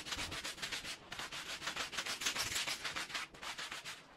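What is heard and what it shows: A green plastic-bristle push broom scrubs a small, oval, red patterned fringed woven fabric rug that lies wet and soapy on the floor. Rapid back-and-forth strokes make a bright, hissing, wet scratching sound that repeats in uneven bursts, with very little low end.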